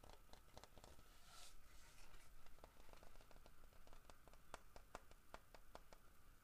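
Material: Wood.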